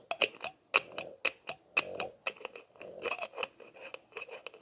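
Fingertips twist and scrape the white plastic screw cap on the threads of a small, hollow, labeled plastic bottle held in both hands. The result is a quick, irregular series of short, dry clicks and scratchy rasps, bright and high with a steady tone near 2.5 kHz. Each click dies away almost instantly.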